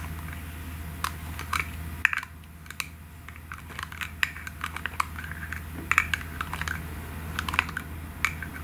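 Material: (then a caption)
Plastic. Long nails rapidly tap the white plastic cap of a pink aerosol can, making quick, sharp, bright clicks that stop at once with no ring. The taps come in uneven bursts over a steady low hum.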